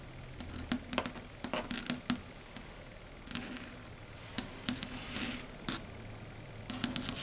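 Very long red stiletto nails tap and lightly scratch a flat, matte, dark grey chalkboard on a solid board. Sharp, dry clicks arrive in quick irregular clusters, broken by a few brief, bright scratchy swishes. Each sound dies away almost instantly against a quiet background.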